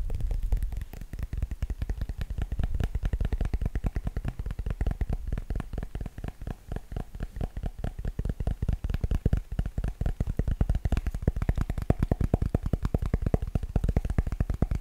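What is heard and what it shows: Long nails tap rapidly on the black plastic frame and the showing screen of a Kindle e-reader. The taps come in a dense, steady stream of short, dry, low clicks and thuds that die away almost at once.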